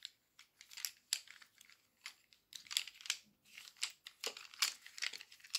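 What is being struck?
Bundle of wooden colored pencils.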